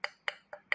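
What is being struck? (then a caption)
Plastic cup. A plastic cup is tapped four times at an even pace, giving short, bright, hollow clicks. Each tap is sharp and centered around 2 kHz, then fades quickly with almost no low end.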